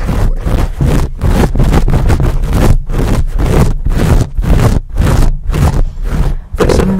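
Fingertips and nails of both hands aggressively scratch and rub a dark, fuzzy, hand-sized foam windscreen sitting on a microphone capsule. The result is loud, close bursts of muffled scratching and heavy low rumble, roughly two irregular strokes per second. It ends with a brief steady low tone.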